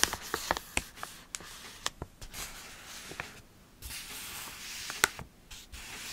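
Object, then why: Foil-lined paper coffee bag. A partly full, purple foil-lined paper coffee bag is crinkled and squeezed in the hands close to the microphone. About eight sharp, bright crackles stand out over a steady, hissy rustle of the paper and foil.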